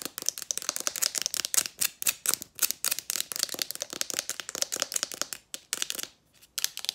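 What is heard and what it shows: Long nails rapidly tap and scratch a small, white, hollow, handheld Mario Badescu facial spray bottle, making about 35 crisp, bright plastic clicks with no low end. The dry, sharp taps come in quick, uneven bursts, pause briefly just after six seconds, then resume.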